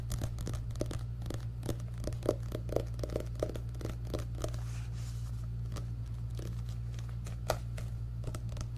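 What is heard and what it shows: Fingertips and nails scratch and tap the solid paper cover of an orange paperback book held close to the microphone. Quick, dry scratching and light tapping crackles repeat throughout over a steady low hum, with a few slightly sharper taps standing out.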